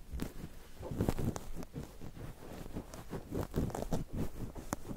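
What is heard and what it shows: Fingertips of both hands press and rub a cluster of soft, fluffy white cotton wool balls covering a microphone. It makes a close, muffled, bass-heavy rustling and crunching with soft thumps and occasional faint bright crackles. The sound runs steadily for the whole clip with no clear gaps.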